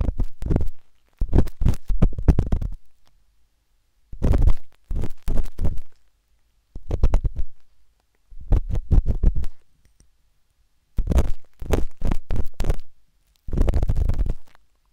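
The metal tip of a wooden-handled dot stick scratches inside the ear canal of a pale pink, soft, solid silicone ear on a binaural microphone. It makes deep, muffled rumbling scrapes in quick rapid-fire runs separated by short silences. The sound is a close, boomy low thudding with almost no brightness.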